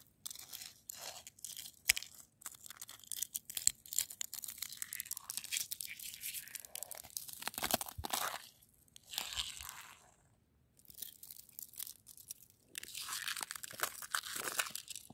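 Long nails scratch and fingertips rub a smooth, hard-packed crust of icy frozen snow on the ground. The result is a quiet, bright, crisp crunching and rasping made of dense, rapid scrapes, broken by short pauses.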